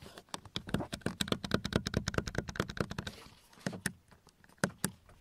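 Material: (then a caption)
Plastic. Fingertips and nails tap and scratch the black molded plastic inner trim of a car door, around the armrest and window switch recess. The hard, hollow panel gives a rapid run of short, dry, clicky taps that fade quickly. A brief softer scratching pause follows, then a few more spaced taps.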